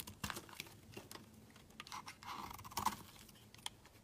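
A utility knife blade shaves and scrapes the edge of a solid, cream-colored rectangular bar of soap held in the hand. It makes a quick run of short, crisp, dry scraping ticks and bright crinkly shavings. A slightly longer, steadier scrape around 1 kHz rises near the end before the ticks fade.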